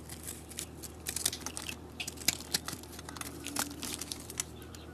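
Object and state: Soap bar being shaved.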